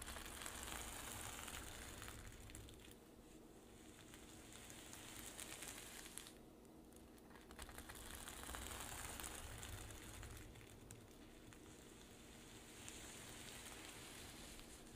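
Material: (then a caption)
Plastic sequins. Long pink nails scratch in strokes across a flat zippered pouch covered in reversible sequins, resting on a dark table. The result is a dense, bright, crinkly rasp that swells and fades with each stroke, with a faint steady low hum underneath.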